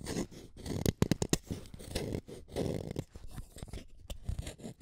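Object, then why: Wooden colored pencil lead. A utility knife blade scrapes the lead of an orange wooden colored pencil, leaving pigment dust collected on the blade. The sound is a series of short, dry, rasping scrapes, mostly low with some bright edges, with a quick cluster of sharper strokes near the start and quiet gaps between passes.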